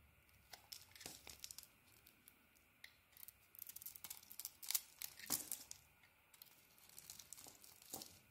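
A small metal blade shaves and carves a hand-sized, solid cream bar of soap with a dark purple coating. It makes a quiet run of soft, bright scraping and crinkling strokes with almost no low end, some bursts crisper and louder than others.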